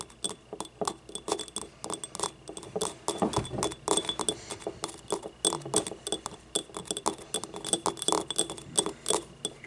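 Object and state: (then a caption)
Ceramic cup tapped with nails. A small, hollow, yellow, ribbed ceramic paint cup is held on its side and tapped on the rim and inside with long nails. The result is a rapid, uneven series of light, glassy clinks, each with a bright, high ring that dies away almost instantly.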